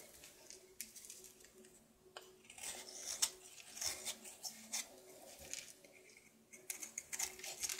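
A solid blue bar of soap held in the hand is carved and scraped with a knife. Soft, dry, bright scraping and crisp little cutting clicks come in quick, uneven bursts over a faint low hum, with no ringing after each stroke.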